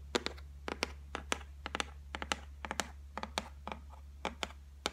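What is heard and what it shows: Long fingernails drum rapidly on the flat top of a white laminated shelf, a solid board. About 20 sharp, bright clicking taps come in quick irregular bursts, each dying away almost instantly over a steady low hum.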